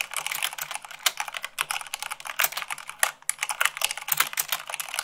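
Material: Plastic.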